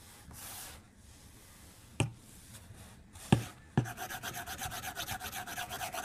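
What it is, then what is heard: Glass tablet screen. A white plastic stylus tip draws on a solid, flat glass tablet screen. After a soft hiss, three sharp taps land on the glass, then quick, continuous drawing strokes set up a steady, bright scratching rhythm to the end.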